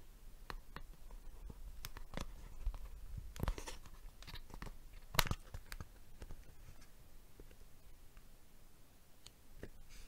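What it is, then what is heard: Plastic box tapped with fingers. A plastic box is tapped with the fingers, giving sparse, irregular clicky, tick-like taps with very short decay over a low, quiet background. One tap around the middle stands out louder than the rest.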